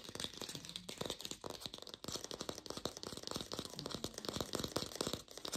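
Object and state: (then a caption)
Fake plastic pear. An artificial plastic pear is fast-tapped with a lo-fi sound, giving a dense run of short, dry clicks with a bright, crinkly edge. Each tap dies away almost at once over a steady hiss, with a faint hollow tone in the mids.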